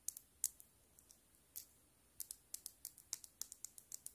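Long black nails tap and scratch a small hollow plastic Keroppi frog figure on a metal keyring. About nineteen quiet, bright, sharp clicks come with almost no low end and no ring. They start sparse and irregular, then turn into a quicker, steadier tapping.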